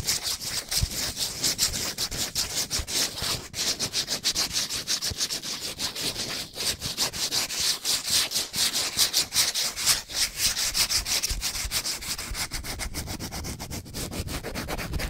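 A small paper or cardboard soap box with a floral print is held in one hand and scratched and tapped with long painted nails. The result is a steady, bright, high-pitched scratching with rapid dry ticks running throughout, and little low-end weight.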